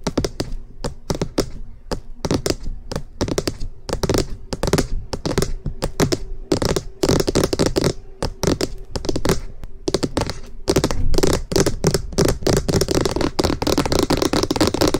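Both hands tap quickly with fingernails on the top of a hollow cream plastic SR3D binaural microphone housing. The result is a rapid, clattering stream of short, hollow clicks and thunks, much like fast typing on a keyboard. The taps come in dense bursts with brief pauses, and each tap has a low, boxy body.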